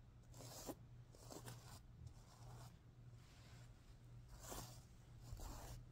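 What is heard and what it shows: A hand and fingernails rub and stroke the plastic sequins on the green side of a stuffed, sequin-covered pillow. Each stroke makes a soft, bright, scratchy rustle that swells and fades in repeated bursts over a steady low hum. The sound stays quiet and close throughout.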